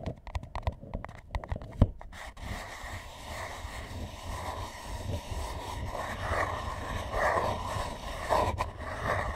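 Fingertips and nails tap and scratch the bottom of a large, empty paper McDonald's drink cup held upside down. A quick burst of sharp, hollow taps in the first two seconds gives way to a steady, papery scratching with a dull low body and brighter rasps that swell and fade.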